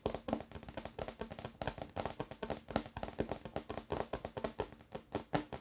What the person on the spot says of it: ASMR Scratching and Tapping on wooden Table